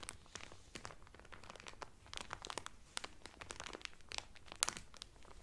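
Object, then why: Cellophane-wrapped cotton towel. A folded blue cotton Carnival towel, sealed in a thin clear cellophane wrapper and lying flat, is pressed and rubbed by both hands with fingertips and long painted nails. It gives a quiet, steady run of bright, dry crinkles and sharp crackling snaps with no ring. One louder snap comes near the end.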